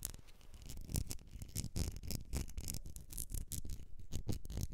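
Long nails scratch and tap on a medium etched glass candle jar filled with solid wax, and the jar is tilted at the end. The result is a steady run of dry, closely spaced scratches and quick taps that die away almost instantly, with a soft low body and bright scratchy edges.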